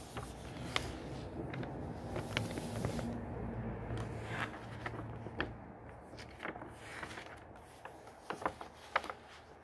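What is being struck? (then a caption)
Glossy paper pages of a hardcover book. A hand smooths a page of a thick hardcover book of glossy printed paper, then fingertips lift and turn its pages. Soft, steady rustling and sliding fills the clip, broken by short, crisp paper snaps and flicks with bright edges that die away almost instantly, over a low, quiet rumble.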